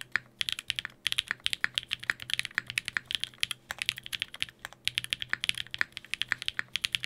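A Sangeo 60% mechanical keyboard in a white case, with blue and grey GMK ABS plastic keycaps, an aluminium plate and Durock POM switches, is typed on by fingertips at a slower pace. Many short, dry, bright clicky taps come in quick uneven runs with brief pauses between them. Each tap is crisp and stops almost at once.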